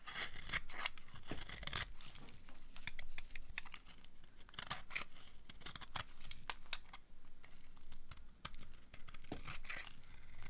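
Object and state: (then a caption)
Dry bar soap being carved. A hand-sized solid bar of dry yellow soap is held in the hand while a utility cutter blade scrapes and carves off crumbly shavings. The result is a steady run of short, crisp scraping and crunching strokes with bright, papery tearing textures over a soft low rumble.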